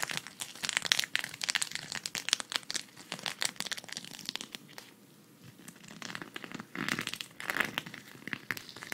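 A flat, thin green sequin cactus patch, held at the side, is scratched and rubbed with long red fingernails. The result is dense, bright, crinkly scratching with rapid clicking bursts, easing to a brief near-silence around the middle before the rubbing picks back up.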